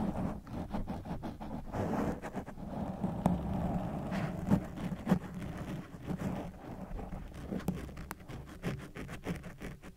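A black foam microphone windscreen of soft porous foam is scratched and squeezed with the fingertips and nails of both hands. It makes a dense, muffled, low crackling rustle with an irregular rhythm, broken by a few sharper, louder scratchy pops.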